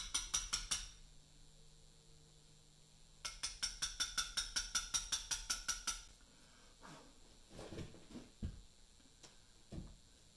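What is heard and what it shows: A small round mallet strikes a steel chisel held against a large, solid, pale Portland limestone memorial block on a workbench as a carver cuts letters. Two quick runs of bright, ringing chisel taps come first: a short burst at the start, then a longer steady series after a pause. Softer, duller knocks and low thuds follow.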